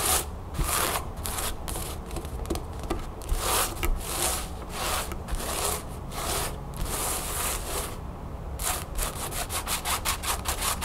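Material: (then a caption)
Cotton canvas. Long nails and fingertips scratch and rub across a flat cream cotton canvas bag with a blue crown print lying on a wooden table. Rhythmic, bright scratching strokes come in bursts with a soft, hollow low thud beneath. The clip ends in a faster run of quick scratches.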